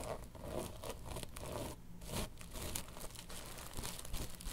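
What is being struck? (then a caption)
Padded tapestry fabric pillow. Long pink nails scratch and tap a soft, padded, long cylindrical pillow covered in woven tapestry fabric. Dull, low padded thumps mix with a steady, dry, crinkly scratching that has faint bright edges, at a fairly even level throughout.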